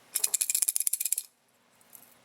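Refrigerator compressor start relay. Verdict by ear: Bad.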